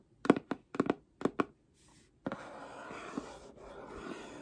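Long painted nails tap a flat holographic cardboard Seventeen album box held in one hand, giving six short, dull taps in quick pairs. After a brief pause, the nails rub and scratch across the surface in a steady, soft, papery scraping that continues to the end.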